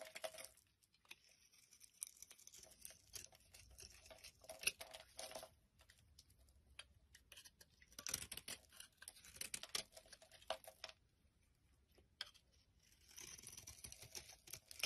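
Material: Soap.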